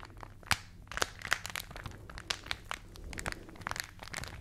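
A rolled glossy paper magazine, shaped into a hollow tube and held in both hands near the mics, is squeezed and rubbed by fingers. Dense, bright crinkling and crackling runs throughout, punctuated by sharp crunchy snaps that die away almost instantly.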